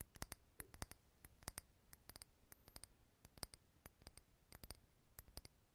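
A small clear glass candle jar filled with solid green wax, unlit, is held in hand near the recorder and tapped with fingertips and nails. A quiet, uneven series of short, sharp clicky taps is heard, each with a bright, glassy tick that dies away almost at once, over a faint low background hum.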